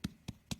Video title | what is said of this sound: Capstone #6 Whimsical Fish | it even sounds hollow it sounds like a pumpkin you kind of tapped on the outside of a pumpkin